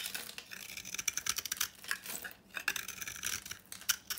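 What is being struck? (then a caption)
Bar of soap shaved with a knife. A utility knife shaves dry flakes and powder off an old, solid rectangular bar of dry soap painted copper with a yellow-orange interior, held in the hand. Quick, bright, crisp scraping and crackling strokes come in uneven bursts with almost no low end. Each scrape cuts off dry and short with no ring.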